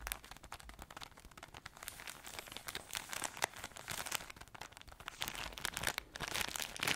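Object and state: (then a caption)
Plastic-wrapped crispbread pack. Long acrylic nails scratch and tap a plastic-wrapped pack of crispbread crackers. Dense, irregular crinkling and bright crackling fill the clip, broken by short, sharp ticks where the nails strike the wrap.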